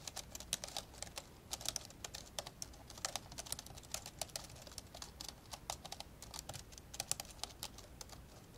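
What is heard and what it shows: Fingertips type fast with both hands on the plastic keys of an old dark grey plastic laptop lying open. A rapid, uneven stream of short, bright clicks and taps with almost no ring sits over a faint, steady low hiss.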